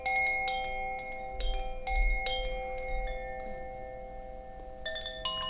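A bamboo Koshi wind chime, a hollow bamboo tube chime with a wooden clapper, is held by its cord and shaken. The clapper strikes in irregular clusters, producing overlapping ringing tones with steady partials in the mid range, a strongest pitch near 2.2 kHz, and bright upper overtones. Each cluster lingers and fades over about a second beneath a soft low rumble.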